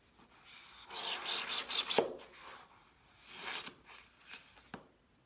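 A gloved hand slices a solid, crumbly half-dome block of green floral foam with a glittery coated outer shell, resting on a white towel, using a metal kitchen knife that sheds glitter as it goes. The blade produces bright, dry rasping scrapes and crunching cuts, with a longer burst early on, a shorter one in the middle, and a sharp crisp snap near the end before it falls quiet.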